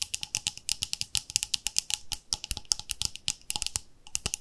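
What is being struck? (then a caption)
Plastic cream jar. Long fingernails tap quickly on the lid and side wall of a round, palm-sized white plastic cream jar with a pink label. The result is a fast, irregular run of short, dry, bright clicks with almost no ring and little low end.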